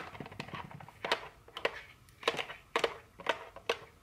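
Very long fingernails tap a small printed cardboard chocolate candy box lying on a table, giving a series of sharp, dry clicks. The taps have a hollow midrange ring around 465 Hz with bright edges and die away almost instantly. Softer scratchy taps come first, then louder, crisper clicks follow.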